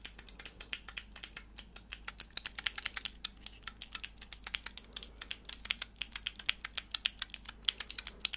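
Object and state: Plastic mechanical keyboard switch tester.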